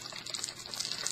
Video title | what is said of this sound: Hello 2015! Update, BoS show and tell and general stuff | you can hear that they're little tiny crystals in there